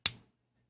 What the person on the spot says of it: si yo lo golpeo, ustedes escuchan un sonido